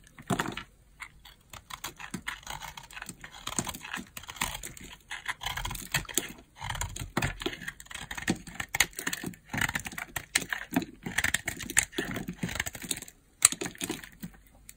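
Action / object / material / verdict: scrape / hard bar soap cut with a knife blade / soap / none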